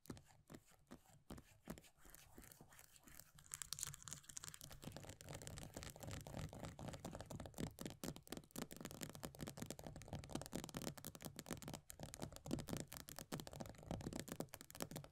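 Long nails tap and scratch fast on the base of an upside-down plastic body butter tub, which has a pale green plastic base with a paper label. The sound is a quiet, dense run of quick dry clicks and scratchy rasps with a low hollow body, thickening into a busier, louder stream after the first few seconds.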